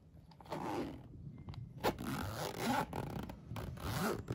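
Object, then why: Fabric pencil case with plastic coil zipper. Fingers zip and unzip a flat Minion-print polyester pencil case with a yellow nylon coil zipper, held up close in hand. The clip is a series of quick rasping zipper sweeps with short ticking teeth, with a mid-low body and little high sizzle.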